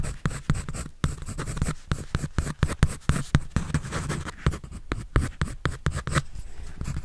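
A pencil scratches and draws across a white paper sketch pad held by hand. Quick, dry strokes rasp one after another in a steady rhythm, with short bursts and a dull, low-heavy texture.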